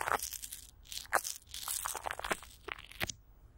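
A palm and long nails rub and scratch across clear plastic film, with Vaseline, stretched over a hollow microphone grille. This makes a quick run of close, crunchy crinkling bursts that are bright and hissy, with almost no low end. Each scrape cuts off fast and ends in near silence.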